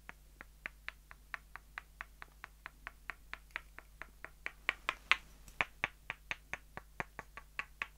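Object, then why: Two light-wood dowel sticks. Two short, solid light-wood dowels are knocked end to end and tapped against each other by hand in a steady, quick rhythm of about 30 crisp, dry clicks. Each click is bright, centred near 2 kHz, and dies away almost instantly. A few taps in the middle land harder, over a faint steady low hum.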